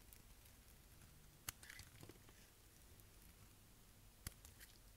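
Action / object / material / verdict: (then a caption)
scrape / bar soap shaved by a knife blade / soap / none. A utility knife blade shaves and scrapes curls off a narrow brown block of dry bar soap held in the fingers. Quiet, soft scraping and crackling run over a low background hum. Two sharp, bright clicks stand out, one near 1.5 seconds and one near 4.3 seconds.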